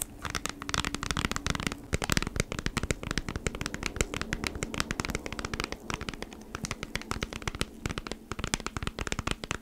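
Long nails rapidly scratch across the surface of a flat beeswax wrap pack, a cardboard package in a plastic sleeve. The result is a dense stream of quick, crisp crackling ticks that run continuously with brief louder bursts, over a faint low steady tone.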